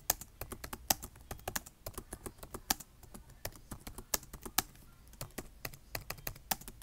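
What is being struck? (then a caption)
Plastic laptop keyboard. Fingertips type on a black plastic laptop keyboard, tapping the keys in a quick, uneven run of short, crisp clicks. Each tap is dry and bright, dying away almost at once, with a few sharper, louder strokes standing out among the softer ones.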